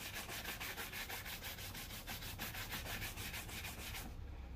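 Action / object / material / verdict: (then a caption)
scrape / leather shoe brushed with a bristle brush / leather / none. A black leather loafer on a foot is brushed with a wooden-backed bristle shoe brush, the bristles rubbing across the leather upper. It makes rapid, steady back-and-forth scrubbing strokes, about three per second, with a bright, airy hiss over a low constant hum. The high bristle hiss drops away just before the end.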